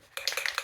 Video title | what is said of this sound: Ceiling water stain paint and pine shelves: Outdoor Fun EP104 | shake it until the ball starts to rattle